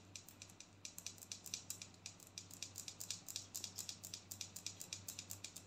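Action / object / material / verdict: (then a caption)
tap / plastic body scrub tub / plastic / none. Long gold-painted nails tap and scratch a large white plastic body scrub tub with a yellow label, hollow and filled with scrub. Some forty quick, bright, dry clicks come in a fast, loosely uneven run, each dying almost at once. A faint steady low hum sits beneath the quiet tapping.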